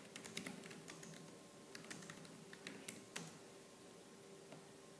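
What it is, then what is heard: Plastic laptop keyboard being typed on. Fingertips with purple-painted nails type fast on the black plastic keys of a laptop keyboard. A rapid stream of sharp, bright plastic clicks, some louder than others, plays over a faint steady hum, and the taps die away quickly.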